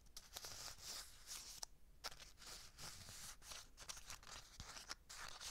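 A small, flat, red McCormick seasoning packet of foil and paper laminate, apparently sealed, is crinkled and squeezed with long dark nails and fingertips close to the microphone. Dense, bright crackling fills the clip, with sharp crisp snaps over a faint low rumble.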